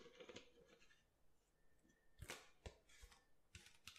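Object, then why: Plastic water bottle. Nails and fingertips tap the ridged bottom of an empty clear plastic water bottle with a blue label, held in both hands over a marble counter. Soft crinkly rustling gives way to a series of short, dry taps and clicks with low thumps and bright crackly edges that stop almost instantly.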